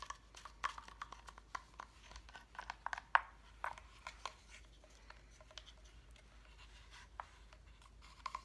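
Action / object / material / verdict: tap / wooden block calendar / wood / none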